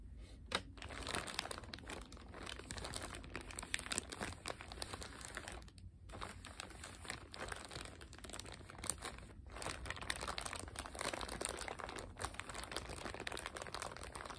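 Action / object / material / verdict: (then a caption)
scrape / thin plastic bag wrapped around small cardboard boxes / plastic film / none. A thin clear plastic bag is wrapped tightly around two small cardboard playing-card boxes, Maverick and UNO, resting on a wooden table. Long pink-painted nails and fingertips press, squeeze and rub the bag, producing steady, dense crinkling with sharp crackles throughout.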